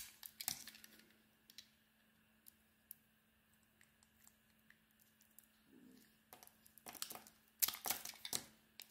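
A metal blade shaves and carves the red and beige marbled coating from a solid oval bar of white soap held in hand, lifting it away in curls. Quiet, bright scraping and crisp crackling come in short bursts, with a faint steady low hum underneath.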